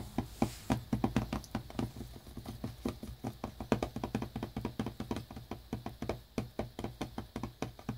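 Fingertips and short nails tap rapidly on a small, flat, hollow cardboard earbuds box, still in its plastic shrink wrap, lying on a brown towel. The result is a dense run of dry, quick knocks with a low, hollow body and almost no ring.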